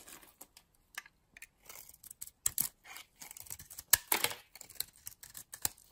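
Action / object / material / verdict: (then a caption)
scrape / soap bar scraped by a metal blade / soap / none. A metal blade scrapes and shaves a solid teal bar of soap with a white interior, held in the palm. It produces quiet, crisp, bright scratchy bursts of irregular length, some short and some longer, separated by brief silences and with almost no low end.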